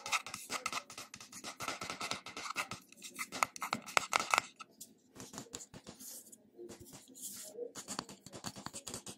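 Fingernails scratch and tap the top of a brushed silver metal-look screw lid on a small, round, seemingly full glass cream jar held in the hand. A dense run of bright, dry scratches and quick ticks, with a few sharper metallic clicks near the middle and a ring around 1.3 kHz, gives way to softer, sparser scratching toward the end. Each tap dies almost instantly with no low body.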